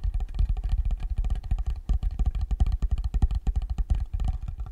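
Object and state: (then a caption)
Wooden block box. Fingertips and nails tap rapidly and irregularly on the top surface of a small, rectangular, dark wooden block or box, possibly hollow, held in front of the microphone. Each tap lands as a short, deep, bass-heavy thud that dies away almost at once, with a soft clicky edge above.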